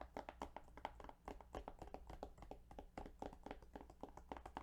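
Fingertips tap rapidly on the plastic case of the Yu-Gi-Oh! Duelist of the Roses video game. Each tap is short, dry and hollow-sounding, with a bright click and a tonal knock near 880 Hz, over a steady low hum. The taps come in a quick, uneven flurry at a soft level.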